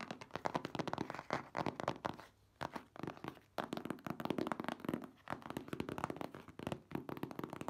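A medium printed cardboard box for a car top cover, full with the product, has its sides tapped and scratched with long nails and fingertips. Quick, dry crackling taps and scratchy rasps run almost continuously, with a brief lull a little over two seconds in.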